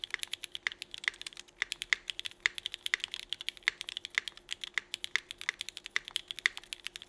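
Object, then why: Mechanical keyboard with ABS plastic keycaps. Both hands type fast with their fingertips on a 65% mechanical keyboard with Cherry Vintage Black switches, red and black GMK Burgundy ABS plastic keycaps and an aluminum plate. A rapid stream of short, dry, bright clacks follows with almost no ring, and a steady faint tone sits underneath.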